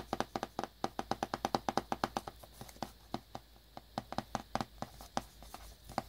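A small black cardboard earbuds box wrapped in clear plastic is held in the hands and tapped and scratched with fingertips and nails. About thirty quick, dry taps land in a fast, uneven rhythm, each with a hollow mid tone near 800 Hz and a faint crinkly high edge. The taps die away almost instantly and soften through the middle of the clip.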